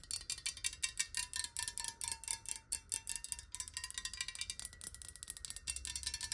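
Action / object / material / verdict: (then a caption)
tap / glass bottle partly filled with water / glass / none. Long nails tap quickly and continuously on a clear square glass bottle partly filled with water and held in the hands. Each tap gives a quiet, bright glassy click with a short ringing tone around 2.7 kHz and a fainter pitch near 1 kHz, so the steady stream of taps sounds like a tinkling chime.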